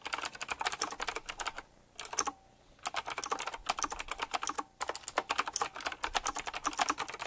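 Fingertips type quickly on a full-size typewriter-style mechanical keyboard with round black plastic keycaps, chrome-look rims and a metallic frame. Rapid, bright clicky keystrokes come in dense bursts, with a couple of short silent pauses between runs.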